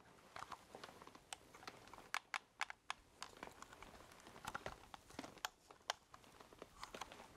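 A black plastic ColecoVision-style game controller, with a knob, a number keypad and a hollow handheld body, is held close in both hands while fingertips and nails tap and press its keypad buttons. The result is a quiet, irregular run of short, dry plastic clicks and taps with bright edges, very little low end and almost no ring, some presses landing sharper and louder than others.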